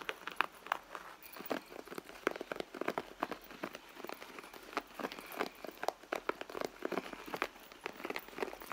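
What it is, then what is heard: Leather handbag scratched and tapped. Long nails scratch and tap the soft leather of a red handbag near its side seam. The result is a steady, quiet stream of short, dry taps and crinkly scrapes, centered in the midrange with almost no low end and no ring after each touch.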